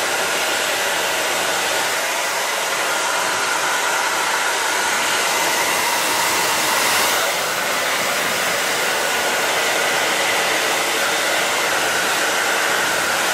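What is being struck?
Nothing is struck.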